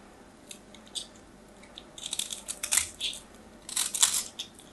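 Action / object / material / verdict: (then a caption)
scrape / bar of soap scraped with a small knife / soap / none. A small knife blade scrapes and carves a solid, hand-sized white bar of soap held in the hand, sending flakes falling. Soft, scattered scratches build into two dense clusters of crisp, bright scraping and crunching. The sound is almost entirely high-pitched and dies away quickly, with little low end.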